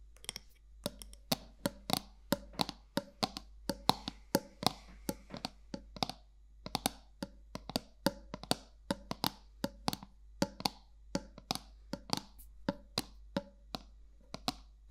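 Long nails tap the flat top of a round gold metal lid on a black candle jar held sideways. Dozens of sharp, dry, bright clicks with almost no ring and a faint tone around 800 Hz come in an irregular rhythm over a low, steady hum.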